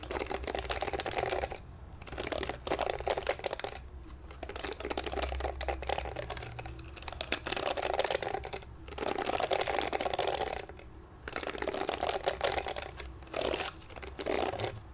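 Fingertips scratch and flick along the bristle rows of a pink glittery plastic detangling hairbrush with pink plastic bristles, held in both hands. The result is a dense, rapid run of dry plastic clicks and ticks centered in the midrange with a crisp bright edge. It comes in bursts separated by brief quiet pauses.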